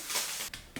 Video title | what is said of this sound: Cheesy Taco Omelette - Perfect keto meal | Can you hear how crispy that is?